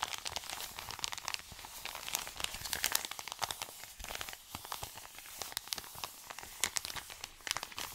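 An Amazon kraft-paper padded mailer envelope is crinkled and rubbed with fingers and short nails. The result is a dense stream of dry, bright crackles and scratchy crinkles with sharp little snaps throughout, and almost no low end.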